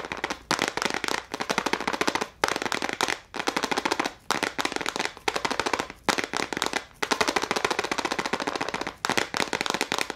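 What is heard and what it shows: A small clear plastic case full of gel crayons, held in both hands, is tapped rapidly with long nails. The result is fast, dry, bright clicking in dense bursts separated by brief pauses, with almost no low end and very short decay.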